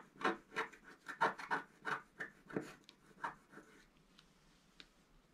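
A wooden stylus scratches a flat black-coated scratch-art card held down by the left hand, working near the top of the figure. It makes a quick series of short, dry rasping strokes, bright and papery around the midrange, at an uneven rhythm. The strokes grow fainter and sparser toward the end, leaving a quiet hiss.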